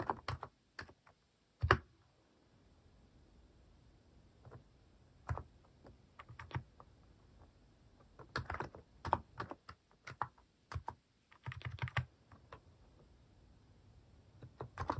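Fingertips type on a white-case mechanical keyboard with pastel plastic cat-shaped keycaps, shown from the side. Irregular bursts of soft, low clacking keystrokes are broken by quiet pauses, with one sharper, louder clack early on.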